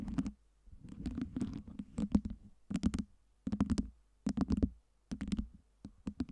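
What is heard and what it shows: Both hands cup a lit LED tower of small solid acrylic fake ice cubes on a round base while long nails tap and scratch across the cube surfaces. The result is bursts of quick, dry, low-pitched clicking and scraping, separated by short pauses.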